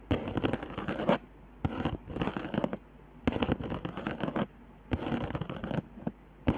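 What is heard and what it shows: Long nails scratch and tap along the raised hot-glue lines and dots of a flat cardboard trigger board. Bursts of dry, crackly scratching with sharp little taps come in rough strokes of about half a second to a second, separated by short quiet pauses. The sound is close and dry, with almost no ring after each tap.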